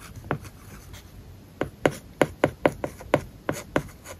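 A plastic stylus writes on an iPad screen fitted with a matte, paper-like plastic film over the glass. After one early stroke and a quiet pause, about a dozen short, dry scratching strokes follow in quick succession, each a crisp tick-and-scrape centered in the midrange around 520 Hz. Each stroke dies away almost at once.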